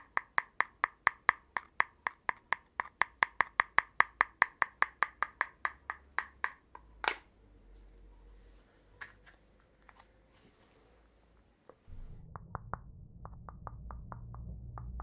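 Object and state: Hollow empty cardboard tube.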